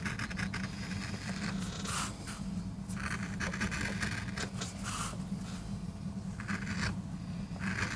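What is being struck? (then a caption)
MDF carving block. A wooden-handled steel gouge scrapes grooves into a small, flat, solid MDF board inked grey with a carved rose, while the other hand braces the board. Repeated dry scraping strokes sound over a steady low rumble, with short bursts of bright scratching.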